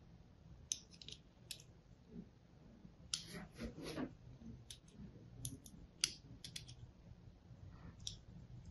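A fine blade tip scores lines into the face of a hand-held, solid pink and white striped soap bar. It makes a series of short, sharp, bright scratching clicks spread irregularly over a quiet, low background hum. A longer crackling scrape comes near the middle.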